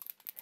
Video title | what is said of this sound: Mirror Spray Home Decor Project in seconds | Okay, you can hear the ball bearing inside of the bottle.